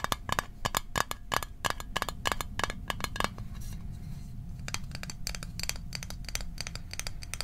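A small, hollow, closed rectangular Altoids mint tin made of metal is held in the hands and tapped with fingertips and fingernails. Quick, bright, clicky taps with a short tinny ring near 1.2 kHz come in a steady run, pause briefly for a softer rustle, then resume over a constant low rumble.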